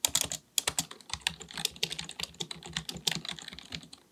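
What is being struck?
Plastic computer keyboard.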